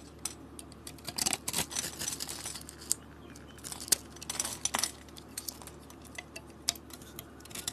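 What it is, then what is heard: Bar of soap being scraped and carved. A utility blade cuts into a solid blue soap cube scored into a grid, held in a hand with dark nails, and scrapes off flakes. Quiet, dry, bright crunching and crackling scrapes come in short bursts and sharp clicks with almost no ring, over a faint low hum.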